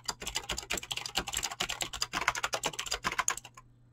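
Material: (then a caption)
Plastic. Fingertips type fast on a Razer BlackWidow mechanical keyboard with clicky green switches and pink-blue dyed PBT plastic keycaps. A rapid, uneven stream of sharp, bright clicks and clacks runs for about three and a half seconds, then stops into near silence.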